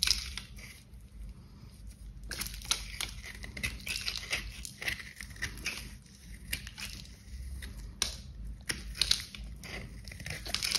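A kitchen knife scrapes repeated strokes across the surface of a hand-sized solid pink bar soap with a glitter coating, held in gloved hands. Dense, crunchy, crackling scraping with bright high-frequency texture, short sharp crunches rising out of a steady gritty rasp.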